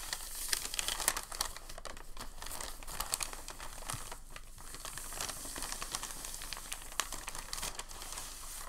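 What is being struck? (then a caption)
Thin packing paper sheet. A folded sheet of thin packing paper on a table is lifted and folded at the edges by hand. The result is a steady, soft crinkling and rustling with many sharp, bright crackles over a low hiss.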